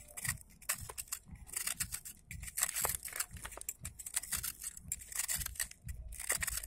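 A utility knife blade shaves and scrapes the surface of a large, thick, solid hand-held block of molded, pressed dry red sand held over a bowl of loose sand. A rapid series of dry, gritty crunches and bright, crackly scraping comes in quick bursts, with soft low patters as crumbs fall into the bowl.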